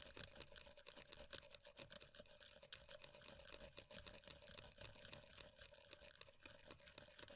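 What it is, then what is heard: Plastic cream tub, tapped and scratched. Long nails rapidly tap and scratch on the lid and edge of a closed, round plastic moisturiser tub of body cream with a black rim. The result is a dense, continuous stream of crisp, bright clicks and scratchy rasps that die away almost instantly, with a faint steady tone running underneath.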